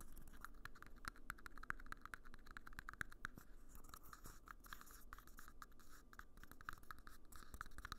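Fingertips tap and scratch the outer wall and base of a small, hollow, empty red disposable plastic party cup held close to the recorder. A quiet, steady run of dry scratching is broken by many short, sharp taps with a hollow tone ringing around 1.5 kHz, each dying away almost at once.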